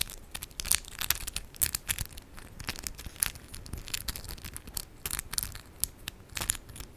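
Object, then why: Acrylic press-on nails with raised charms. Long decorated acrylic press-on nails of hard plastic with raised 3D charms click and scratch against each other as the fingertips of both hands interlock. Quiet, rapid, irregular sharp clicks and scratchy rustles come through with bright, high-pitched ticks and very short decay.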